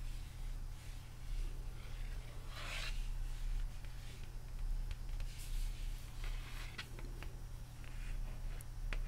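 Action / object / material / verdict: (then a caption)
scrape / glossy cardboard record sleeve / cardboard / none. Fingertips and manicured nails rub and scratch across the glossy printed cover of a large, flat, hollow cardboard laserdisc jacket for The Empire Strikes Back, held in one hand. Soft, dry scraping and rasping strokes rise and fall over a steady low hum.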